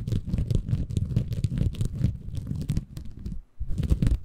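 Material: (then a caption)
Bamboo fiber. A small, green, porous bamboo fiber sponge, soft and compressible, is held in both hands above a Tascam recorder while fingertips scratch and squeeze it. The result is a dense, muffled, low-heavy scratching and crinkling rustle that runs almost continuously, with a brief drop to near silence around 3.5 seconds before resuming.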